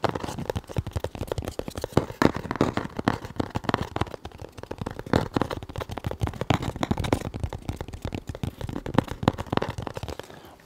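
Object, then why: Closed cardboard box. A closed, hollow, white printed cardboard box is held upright in both hands and tapped and scratched with fingertips and nails on its face and edges. Rapid, dense, dry taps and scratches run throughout, dull and low to mid in tone with no ring, trailing off softer at the end.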